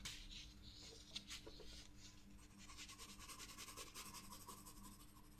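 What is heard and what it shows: A pencil tip draws lines on the lower part of a flower on a white sketchbook paper page, scratching lightly. The result is a soft, bright, papery rasp of short, repeated strokes over a faint, steady low hum.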